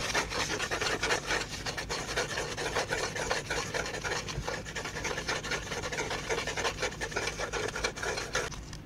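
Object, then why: Flat folded cardboard piece. Fingertips and nails rub and scratch across a flat, folded tan cardboard piece held close to the microphone. The sound is a steady, dry rasping and scraping made of many quick overlapping strokes, with a papery, bright hiss over a faint low rumble. The level stays fairly even throughout.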